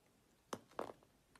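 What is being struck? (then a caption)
Painted bar of laundry soap. A utility-knife blade slices strips off a solid, silver-painted rectangular laundry soap bar held in the hand. One crisp, dry cut is followed by a quick cluster of short scraping snaps and a faint final tick. The scraping sounds are brief and quiet with a bright edge.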